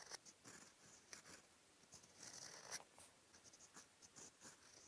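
A fountain pen's steel nib, held in the fingertips, scratches across a flat white lined sheet of writing paper, making dense handwriting strokes in brown ink. Quiet, bright, scratchy strokes come in quick bursts, with sharp high rasps and almost no low end.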